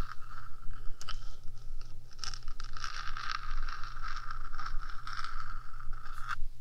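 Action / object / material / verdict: scrape / hollow metal microphone housing / metal / none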